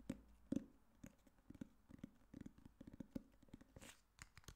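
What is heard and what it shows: Fingertips and nails tap and scratch the cover and spine of a solid black hardcover copy of "The Girl on the Train." Quiet, dry, short taps with a low-mid hollow thump land irregularly, mixed with soft scratchy rustling and brief brighter scrapes.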